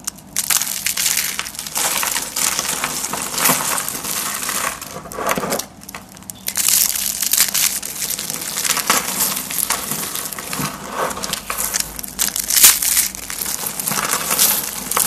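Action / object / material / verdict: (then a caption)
scrape / rolled soap sheets / soap / none. A hand with long painted nails squeezes and crushes a beige, hand-sized coiled roll of thin, dried, brittle soap sheets, hollow in the center, between the fingers. It makes a steady stream of dense, bright crunching and crackling with a brief lull around six seconds. The roll breaks into crunchy flakes.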